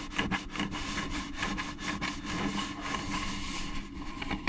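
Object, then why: Hollow plastic pumpkin bucket. Long claw nails scratch and rub across an orange, hollow plastic jack-o'-lantern candy bucket held close to the mic. The result is a steady, dry scraping texture with brief bright swipes and a faint hollow resonance underneath.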